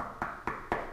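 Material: Resin composite.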